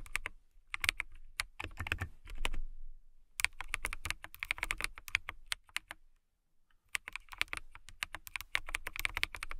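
Long nails and fingertips type on a transparent acrylic mechanical keyboard with clear plastic keycaps. Quick, bright, clacky keystrokes come in three fast bursts, separated by short pauses near the third and sixth seconds. Each tap is sharp and dry with a low thock underneath and almost no ring.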